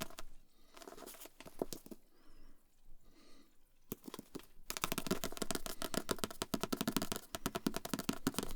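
A book is tapped with the fingers, giving quick, irregular dull taps. The tapping is soft and sparse for the first few seconds, then becomes louder and denser for the rest of the clip.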